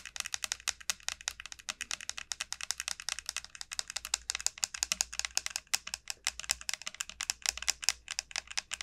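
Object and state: Dried bottle gourd, dry hard shell.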